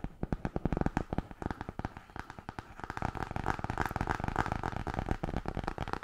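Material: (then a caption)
Cardboard. Long painted nails tap quickly on the front cover of a solid blue hardcover "Tarot" book with a cardboard cover. The result is a rapid, dense patter of short, dry, dull clicks that carry most of their weight low, with almost no ring, growing busier and more continuous toward the end.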